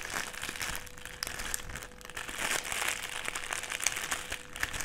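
Fingers press, crumple and rub a clear plastic sheet rolled into a strip on a table. Dense, bright crinkling and crackling runs throughout, with sharp snaps popping out over a faint steady low hum.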